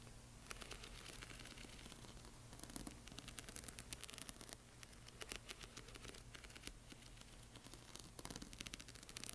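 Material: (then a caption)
Plastic. Long fingernails tap and scratch across the rows of a flat sheet of small plastic half-pearl stickers on clear film, which lies on a black cloth. The sound is a quiet, dense run of sharp, dry clicks and scratchy ticks with a bright, high edge, over a steady low hum. It grows busier around the middle and near the end.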